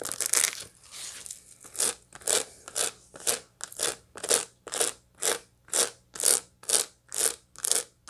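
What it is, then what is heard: Dried sunflower head with seeds. A large dried sunflower head, about a hand-span wide or more, with its seeds still packed in the face and green bracts around the rim, is held in one hand and scratched and tapped across the seed surface with long light-blue acrylic nails. Dry, bright, crunchy scratches start out irregular, then settle into a steady rhythm of about two short crackling strokes per second that stop quickly with no ring.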